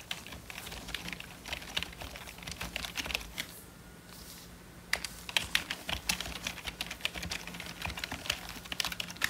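Gloved fingertips type on a hollow, full-size black plastic membrane computer keyboard, making rapid, bright, short clicks and clacks. The typing pauses briefly about midway, then resumes at the same quick pace over a faint, steady low hum.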